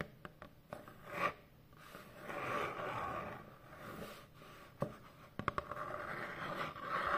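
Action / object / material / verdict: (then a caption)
scrape / corrugated cardboard box / cardboard / none. Long fingernails slowly scratch across the surface of a large, hollow corrugated cardboard shipping box. Soft, rasping strokes swell and fade with a papery midrange tone. A few sharp ticks and taps are scattered between them.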